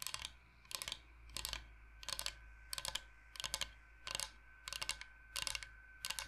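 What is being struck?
Bamboo cutting board.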